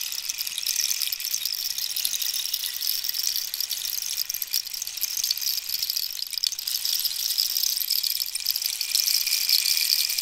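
A long, hollow, dried cactus wood rainstick is held diagonally while long nails scratch and tap its ridged, holey wooden surface. The result is a steady, dense hiss of fine scratching and ticking that sits almost entirely in the high, bright range, with no low end and a level that stays even throughout.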